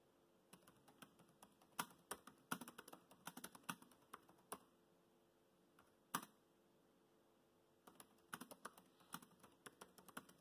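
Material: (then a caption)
Plastic. Fast fingertip typing on a laptop keyboard with black plastic keys produces quick bursts of short, crisp clicks with bright edges and almost no ring. The typing runs in rapid clusters, pauses briefly with a single louder tap, then resumes in another quick run, all at a quiet level.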